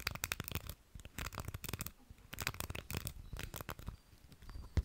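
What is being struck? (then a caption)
Plastic round pin hair brush. A small round beige plastic hair brush with dense stiff pins is held in both hands close to the mic while fingertips and nails scratch and strum across the pins. The result is a run of quick, dry, crackly strums and scrapes with a deep low rumble underneath and bright scratchy edges.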